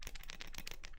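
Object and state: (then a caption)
Hollow plastic electronic die. A copycat light-up electronic die, built from two halves of a translucent plastic shell and completely hollow inside, is shaken right next to the microphone. Its loose hollow body produces a quick, continuous series of bright, dry rattling clicks with short, sharp attacks.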